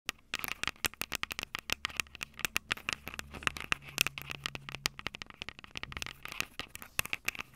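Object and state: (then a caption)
Handheld recorder's metal mic capsules, tapped and scratched. Long purple acrylic nails on both hands tap and scratch the two silver metal X/Y mic capsules on top of a Tascam DR-05 recorder with a small plastic body. Dozens of quick, dry, bright clicks and scrapes follow one another with almost no ring, centered around 2.6 kHz over a faint low hum.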